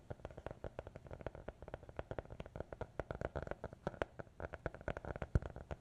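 A small, closed, solid black hardcover notebook is held close to the microphones and tapped and scratched with fingertips and nails. The result is a quick, steady run of soft, dull, low-pitched taps that stop almost instantly, with faint scratching between them.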